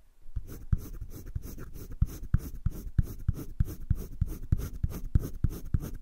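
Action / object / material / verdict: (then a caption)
scrape / pencil on thick drawing paper in a spiral sketchbook / paper / none. A green colored pencil is rubbed across thick cream drawing paper in a spiral sketchbook with steady shading strokes. The result is a continuous, low, scratchy rasp broken by soft thumping accents as each stroke changes direction, repeating at a brisk, uneven pace.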